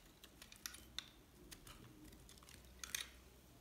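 A metal blade shaves white curls off a hand-held, solid, dried white soap bar. The result is a quiet run of dry, crisp scraping and cutting ticks, bright and high with very little low end. Sharper clicks stand out near the start and near the end.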